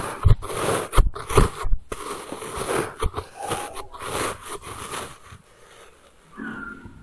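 A thin blue plastic knife cuts and scrapes through a solid, packed log of pink kinetic sand on a wooden table. Soft, low, crunchy bursts come in an uneven series as the slabs crumble into loose chunks, easing into quieter scraping toward the end.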